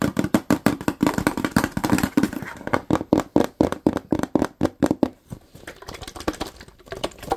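Fingertips tap quickly on the body of a medium-sized, hollow, likely filled white plastic Lysol cleaner bottle with a blue cap, and fingernails scratch across it. The result is a rapid run of short, dull hollow knocks centered in the low mids around 312 Hz, with little ring. Toward the end they give way to softer, scratchier strokes.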